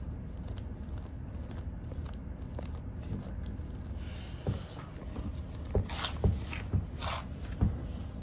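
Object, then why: Denim jeans fabric. Long blue nails scratch and pick at black distressed denim jeans with frayed rips, worn on the legs, catching the frayed threads. Soft, steady scratching over a low background rumble gives way in the second half to sharper rasping strokes and brief scraping taps.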